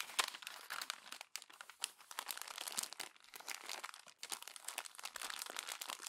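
A hand crumples and presses the pages of a glossy paper magazine, making a steady stream of dense, bright crinkling and crackling with almost no low end. The rustling runs nearly continuously for about six seconds, briefly dropping off around 1.3 and 4.2 seconds before picking up again.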